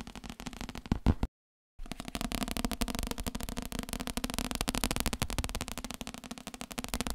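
A thick, solid paperback book with a paper cover is held up and tapped with the fingertips along its cover and page edges. Quick, dense tapping makes a dry, crackly patter with a low, soft thump beneath it. It is broken by a brief silence near the start, then continues steadily to the end.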